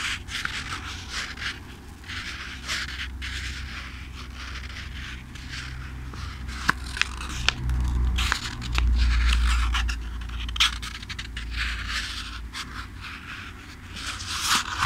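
A thick-paper paperback book held in one hand has its pages riffled and flipped by fingertips close to the microphone. Dry, bright papery scrapes and crackles come in quick, uneven flurries over a steady low rumble that swells louder around the middle.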